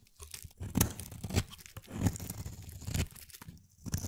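A solid gray-blue, palm-sized bar of soap held in the hand is shaved with a utility-knife blade. Crisp scraping and crunching strokes come in uneven bursts, with the loudest at about 0.8, 1.4, 2.1 and 3.0 seconds. Each carries a low, thick body and a bright, airy edge, and each stops quickly with little ring.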